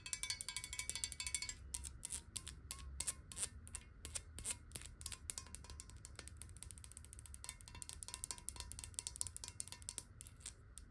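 Long nails tap fast on the base and edges of a clear glass water bottle, hollow and partly filled with water and held bottom-up. The result is a rapid, steady stream of bright, sharp clicks, each with a short glassy ring, over a faint low rumble.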